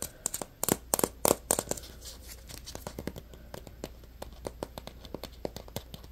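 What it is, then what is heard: Plastic egg-shaped container. A small, hollow, purple plastic egg-shaped Play-Doh container is held in the fingers while short nails scratch and tap its shell, then the hands cup it. A burst of loud, bright, dry clicks and scratches in the first two seconds gives way to a quieter, uneven run of short taps.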